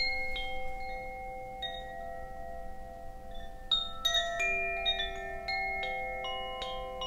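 A bamboo Koshi wind chime, a hollow bamboo tube chime with a wooden clapper, is held up by its cord and swung. Its bright, sustained tones overlap and ring on, with several sharper strikes clustered in the second half.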